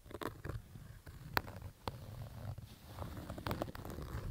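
Fingertips scratch the fabric of a black Adidas baseball cap with stitched panels, resting on carpet. The result is a soft, rough, low rumbling scratch that runs throughout, broken by a few sharp, bright ticks where the nails catch the fabric.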